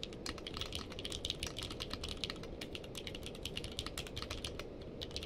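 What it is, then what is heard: Mechanical keyboard with plastic keycaps. Fingertips of both hands type continuously on a navy and purple cased mechanical keyboard with plastic keycaps. A steady stream of quick, bright, clicky key taps dies away almost at once, over a low, soft background rumble.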